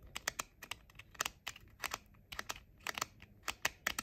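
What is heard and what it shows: Short nails tap quickly on the hollow outer shells of pink plastic JBL over-ear headphone ear cups. About 17 quiet, sharp, bright clicks come in an uneven, rapid patter, each dying away at once with almost no low end.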